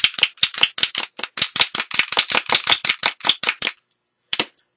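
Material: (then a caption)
Plastic. A bottle of chartreuse spray paint is shaken, and the loose mixing ball inside clatters in a quick run of about 20 bright, sharp rattles, followed by a pause and one final rattle. The ball moves freely rather than sticking, so the paint is mixing properly.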